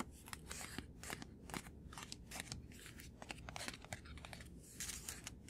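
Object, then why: Paper card. A small white paper card held in one hand is rapidly tapped and flicked with the fingertips and short nails. The result is a quick, uneven run of dry, crisp, papery clicks and scratchy flicks with bright high edges, over a low, steady hum.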